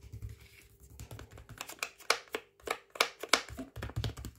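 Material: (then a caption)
Plastic. Fingertips tap and scratch across the front of a full, flexible plastic microwave rice pouch lying flat. Sharp, bright crinkly clicks come at an irregular pace over soft scratching, with quick taps that die away almost at once.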